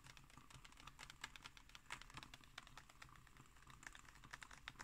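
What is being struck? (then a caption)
Glossy paper magazine page. Long nails tap and scratch on the left-hand illustrated page of an open magazine with glossy pages. The result is a dense run of quick, crisp clicking taps with short, bright scratches over a faint low hum.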